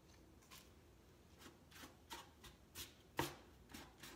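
A hand rubs the side boards of a large, empty, hollow grey-washed wooden crate with X-brace sides, using a cloth or sanding pad. Nine soft, brushy swishes are heard, each a short burst of bright hiss over a quiet background, with the strongest stroke just past the three-second mark.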